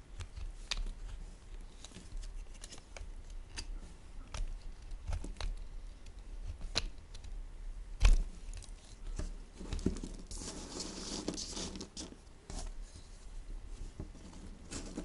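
A rounded, worn-down solid white soap bar is scraped with a green peeler, and long shavings pile up. The clip is full of short, dry scraping strokes with a faint low rumble beneath them. Around the tenth second a longer, brighter rasping stroke stands out.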